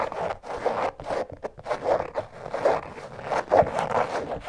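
Long nails scratch the canvas upper of an empty checkered canvas slip-on shoe lying on its side. Quick, raspy scraping strokes come in uneven bursts, with a dry, papery texture centered in the midrange and little low end.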